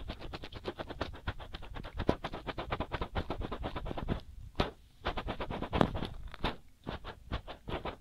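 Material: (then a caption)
Silicone. Fingers with short nails scratch quickly over both white soft silicone rubber ears of a binaural microphone, making a dense stream of rapid, dry scratching strokes. The strokes have low, close-up body and a little high brightness, with a brief pause near the middle before the scratching resumes.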